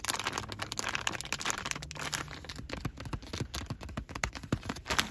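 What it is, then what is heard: Full plastic wet wipes pouch. Fingertips and short nails tap, press and crinkle a soft, flexible plastic pouch of disinfecting wet wipes (72 count, full) and its resealable flap as it lies on a car seat. A dense run of quick, crisp plastic crackles and light taps continues throughout.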